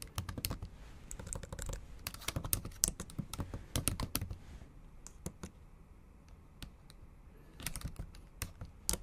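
Long acrylic nails type in Japanese on the black plastic keys of a MacBook Pro keyboard set in an aluminum body. Quick, dense bursts of sharp, bright clicks with no ring sit over a soft low thump. The typing thins to a few scattered taps in the middle, then picks back up in a final flurry.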